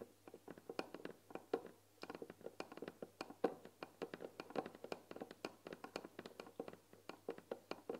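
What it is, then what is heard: Painted wooden tea box. Fingertips and nails tap quickly on the front "THÉ" panel of a white painted wooden tea box, its lid open with tea packets visible. The result is a quiet, rapid, uneven stream of dry, clicky taps centered in the midrange around 465 Hz, with faint bright nail ticks and very little bass. Each tap dies away almost instantly, leaving no ring.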